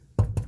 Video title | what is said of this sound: Winnebago RV MOTOR HOME DRIVER SIDE DOOR HARD TO OPEN REPAIR AND ADJUSTMENT WORKHORSE CHASSIS | no more rattle